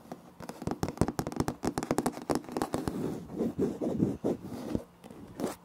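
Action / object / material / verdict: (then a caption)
scrape / laminate floor planks / laminate / none. Fingertips and nails of both hands tap and scratch across a light wood-grain laminate floor, a large flat solid surface. Quick, crisp taps come in dense bursts, mixed with rougher scratching strokes that swell and fade in the middle of the clip. The sound is dry and close, with each tap dying away almost at once.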